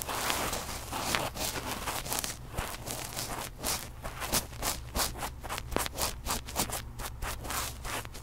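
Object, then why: Metal mesh microphone grille rubbed with cotton swabs. Fluffy cotton swabs are rubbed over the two metal mesh capsule grilles of a red recorder, producing close, scratchy brushing strokes. Each stroke is a bright, breathy swish, the strokes grow quicker and more rhythmic toward the end, and a steady low hum sits underneath.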